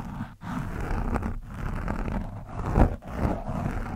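The thin steel shaft of a screwdriver scratches and pokes an orange foam windscreen on a microphone, which is soft and porous. The result is a continuous, muffled, low rumbling scrape with a few brief dips and swells, dark and bass-heavy with almost no bright top end.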